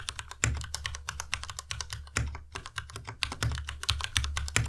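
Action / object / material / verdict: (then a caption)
tap / plastic mechanical keyboard / plastic / none. Fingertips type steadily on a white Ducky Miya Pro tenkeyless mechanical keyboard with plastic keycaps. The result is a fast run of crisp, bright keystrokes, each with a low, dull thock underneath. Every stroke dies away almost at once, and a few land noticeably harder than the rest.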